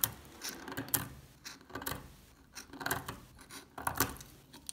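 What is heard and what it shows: A metal pick scrapes and picks flakes off the corner of an old, solid, translucent amber soap bar held in the hand. The result is irregular bursts of dry, crunchy scraping with sharp, bright crackles and clicks, separated by short quiet pauses.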